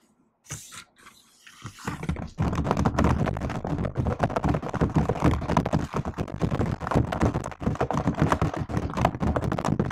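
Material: Plastic.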